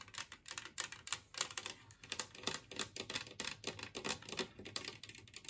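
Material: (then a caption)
Ceramic. Long nails rapidly tap a large, flat, green glazed ceramic plate shaped like a Christmas tree, which is empty. The taps come in an uneven, quick patter of short, bright clicks with almost no ring and very little low end.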